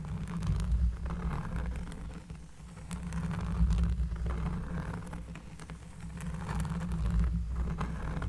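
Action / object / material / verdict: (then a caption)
scrape / cork trivet / cork / none. A round, flat, solid cork trivet lying on a table is scratched with long nails. A deep, bassy rumble with rough scratching swells and fades in slow waves, with faint crackly ticks on top.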